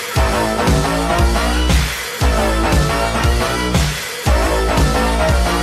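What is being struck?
Nothing is struck.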